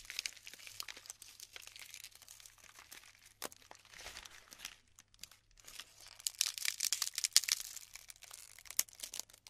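Handfuls of colorful glued polystyrene foam bead clumps, light and solid, are scooped and crumbled between fingertips with long pink nails over a pile of beads on parchment paper. Quiet, dense, bright crinkling and crackling fill the clip with brief sharp snaps, growing busier and louder toward the end.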